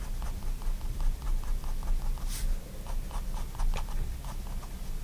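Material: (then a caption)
Paper. A fine-tip pigment liner pen draws continuous line strokes on a spiral-bound white paper sketchbook lying flat on a wooden desk. Soft, scratchy pen strokes come in quick, uneven bursts over a steady low rumble, with one brighter, sharper scratch near the middle.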